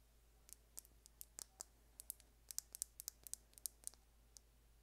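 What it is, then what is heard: Plastic lip gloss tube. A small, hollow, slim light-colored plastic lip gloss tube with a gold and blue cap is held in one hand and tapped with long painted nails. About twenty quick, sharp, bright clicks come in an uneven rhythm, each dying away instantly over a quiet, steady low hum.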